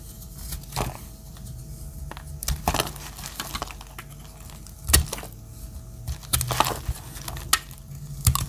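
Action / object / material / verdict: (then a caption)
scrape / bar of soap cut with a blade / soap / none. A metal utility-knife blade cuts into a solid, palm-sized, pale yellow Dettol bar of dry soap, cracking off dry chunks and curls. Sharp, bright cracks and crisp scraping crunches come in irregular bursts over a low, steady hum, and each one dies away almost instantly.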